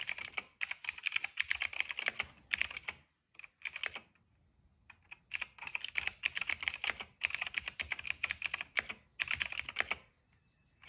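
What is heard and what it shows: Fingertips of both hands type on a cream plastic mechanical keyboard with black, purple and yellow keycaps and a hollow case. Rapid bursts of bright, crisp clacks come in quick runs, with short pauses between them and a longer lull around the middle. Each keystroke is dry and short, with almost no ring and very little low end.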